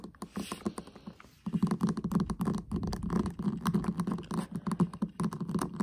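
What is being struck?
Flat metal tin eyeshadow palette lid.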